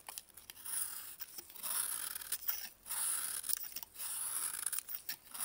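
A metal blade scrapes and carves a hand-sized, solid block of dried baking soda held in a gloved hand. Dry, gritty, crunchy rasps come in bright, hissy bursts separated by short quiet gaps, with almost no low end.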